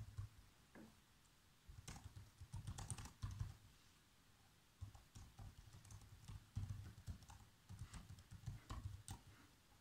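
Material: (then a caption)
Plastic. Bare fingertips with short nails type continuously on a black plastic laptop keyboard. Quiet, soft key taps come in bursts of quick clicks with a dull low thud, and the typing briefly pauses around 1 and 4 seconds.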